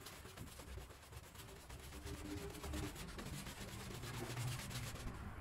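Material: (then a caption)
Woven fabric. A long-handled green push broom with stiff bristles scrubs a small, foamy, wet woven rug on the floor in back-and-forth strokes. The result is a steady, rhythmic, scratchy brushing and swishing over a low, damp rumble, keeping an even level throughout.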